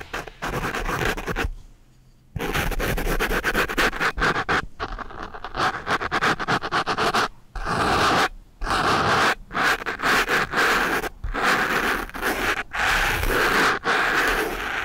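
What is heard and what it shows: A sharpened wooden pencil tip, held by hand, scratches a soft, porous black foam microphone windscreen up close. The result is dense, rough scratching and rubbing bursts broken by brief silent pauses, with a bright, crackly texture centered around the mids.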